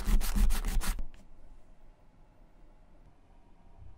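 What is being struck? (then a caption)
Leather bifold wallet. A white rubber eraser is rubbed vigorously back and forth over a small, flat, closed brown leather bifold wallet lying on a white surface, leaving eraser crumbs around it. About a second of quick, scratchy rubbing strokes is heard, followed by a faint brief scrape and then near silence.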